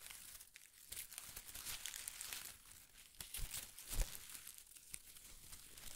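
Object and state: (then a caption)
Shredded paper strips. A bundle of thin pastel shredded paper strips is held in one hand and squeezed and crinkled with fingertips and short nails. The result is soft, continuous rustling and crinkling with bright, crackly detail and a sharper crunch near the four-second mark.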